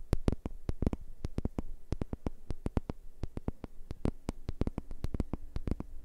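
A large, round, flat cork board, solid and thin, is held in hand and tapped and scratched with fingertips and nails. About 35 quick, dry taps follow one another with almost no ring, over a steady low hum.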